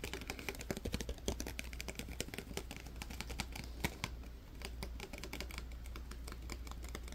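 Fingertips and nails flip the plastic lenses, click the hinge and tap the frame of a small pair of black clip-on sunglasses with a metal clip, held in both hands. A rapid, irregular stream of short, dry, bright clicks and taps runs throughout, each dying away almost instantly over a steady low hum.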